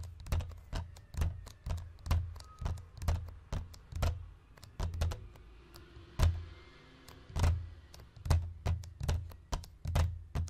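Fingertips and nails of both hands drum quickly on a hollow white plastic DVD case lying on a wooden chest. The result is a steady run of soft, muffled thunks with a deep, boomy low end, each topped by a sharp, bright click from the nails. The taps fall in quick, uneven clusters with brief gaps and die away almost immediately.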